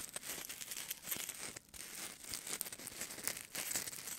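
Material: Polystyrene foam.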